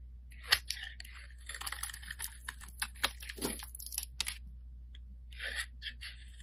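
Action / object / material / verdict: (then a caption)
scrape / bar of soap / soap / none. A solid yellow bar of soap held in the hand is shaved into strands with a metal blade, giving crisp, bright scraping and crunching strokes. The cuts come irregularly over a low steady hum, then the soap is held with no blade, and only a couple of faint scrapes follow.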